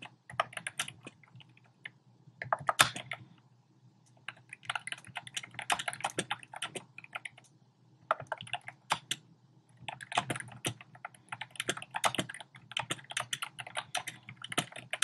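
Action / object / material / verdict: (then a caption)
tap / plastic keyboard with round plastic keycaps / plastic / none. Fingertips with short painted nails type rapidly on a compact keyboard with a black plastic frame and round pink, orange and cream plastic keycaps, resting on a desk. Bursts of quick, bright plastic clicks with very short decay are broken by brief pauses, with a faint low hum underneath.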